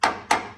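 A flashlight taps a used truck's steel frame twice, checking for rust. Each tap gives a sharp, bright metallic ping that rings briefly. The frame has only surface rust and is solid, not rotted through, since a deep sound would mean rot.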